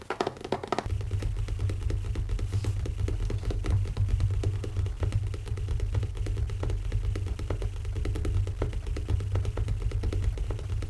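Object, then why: Leather-covered hardcover notebook. Fingertips tap quickly on the cover of a closed black leather-covered hardcover notebook with an elastic band, resting on a wooden table. The result is a steady stream of soft, dull, low thuds that die away almost instantly, with no bright ring.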